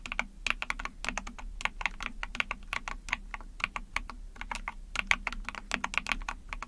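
Rapid typing on a small 44-key Epomaker TH40 mechanical keyboard with an ABS plastic case, PC plate, and backlit pink and white keycaps, pressed with long painted nails and fingertips. A dense, steady stream of short, bright plastic clicks and clacks, each dying away almost instantly over a faint low thock from the case.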